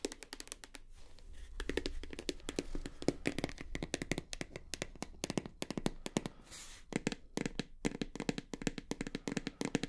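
Long nails tap rapidly on a full white plastic shower gel bottle, first standing upright and then laid on its side. The result is a dense run of short, dry, hollow clicks with a low-mid body and almost no ring, over a faint low hum.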